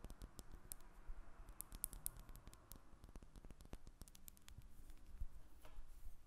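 A solid square lavender soap bar is held and then set on a glass table while long nails tap and scratch it, possibly touching the table too. Quick, dry clicks and bright ticks patter over a soft, low rumble. The result is a quiet, steady stream of short taps with faint scratching.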